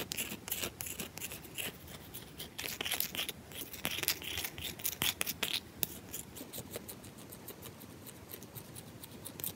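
Long acrylic nails rapidly tap and scratch the flat top and edge of a round, solid bar of soap held in one hand, with the audio sped up. A dense stream of bright, dry scratching and short clicky taps, mostly high in pitch, varies in loudness throughout with a few sharper peaks.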